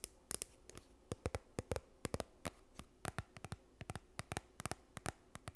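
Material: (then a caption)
Plastic. A partly full yellow plastic sunscreen tube, held in front of the microphone, is scratched and tapped with long nails. There are 28 quiet, sharp, dry clicks and taps in an uneven rhythm. Each is broadband from low thump to bright tick and dies away almost instantly, with soft scratching between them.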